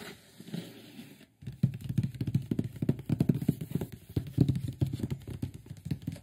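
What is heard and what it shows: Fingertips tap and scratch the top and front edge of a large, closed, printed cardboard microphone box. Soft, faint scratching opens the clip and then stops for a brief silence. A dense run of rapid, dull, low-pitched taps follows, each dying away almost instantly.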